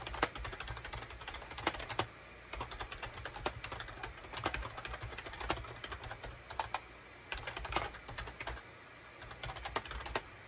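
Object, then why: Plastic computer keyboard. Fingertips type rapidly on a full-size gray and cream SHIPADOO K600 wired USB keyboard with a hollow plastic case and plastic keycaps, resting on a desk mat. The result is a dense stream of short, bright, clacky key hits with a few brief pauses, over a faint low hum.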